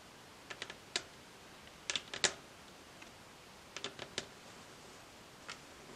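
Long acrylic nails tap rapidly with both hands on a solid varnished wooden tabletop. Sharp, bright clicks come in short irregular bursts, each dying away almost instantly over a quiet hiss with almost no low end.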